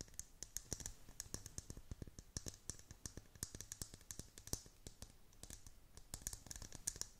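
Long pointed nails tap and scratch the curved, hollow transparent dome lid of a clear plastic tumbler holding loose pastel beads and a unicorn figure. Rapid, dry, bright clicks and taps come in an irregular stream with soft scratching between them, each one short with almost no ring.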